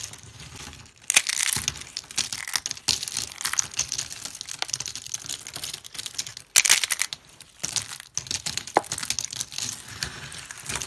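Dry pale yellow soap shavings, brittle solid strips, are crushed and crumbled in a hand with purple nails, and flakes fall onto a wooden table. Dense, bright, crisp crunching and crinkling comes in bursts, with short quiet gaps near one, six and eight seconds.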